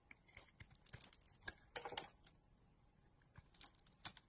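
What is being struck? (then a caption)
Bar of soap scraped with a metal blade. A metal blade scrapes and shaves flakes from a solid, hand-sized pink bar of soap with a dark blue coating, held in a hand with long dark nails. Short, crisp, bright scraping bursts come in a busy cluster, fall quiet briefly in the middle, then return, with little low end and no ring after each cut.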